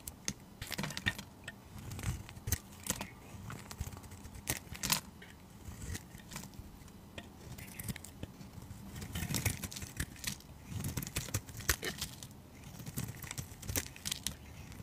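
A utility knife blade scrapes and carves thin shavings off the surface of a hand-held, solid, translucent green rectangular glycerin soap bar. It makes a run of crisp, bright scraping strokes over a low, soft rumble. The short scratchy bursts come in uneven clusters throughout.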